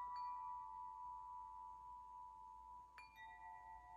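A hollow metal tube wind chime with a ring top, held by its string, is shaken and struck by fingers. Its tubes ring with long, sustained metallic tones centered near 1 kHz with bright overtones. Just before the three-second mark, a fresh strike adds new ringing pitches over the fading ones.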